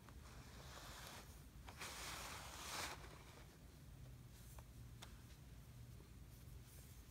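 Clumps of kinetic sand in a blue plastic tray are pressed, crumbled and rubbed with fingertips and palm. The result is a quiet, gritty rustling over a low rumble, with a brighter, louder crumbling burst in the middle and a few faint sharp ticks afterward.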